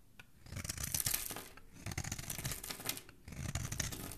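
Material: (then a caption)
Soap. A metal utility blade scrapes and shaves a hand-sized solid orange bar of soap held in one hand with dark-painted nails, curling off shavings. Crisp, bright, raspy scraping comes in three passes separated by brief pauses, with a low rough body beneath each stroke.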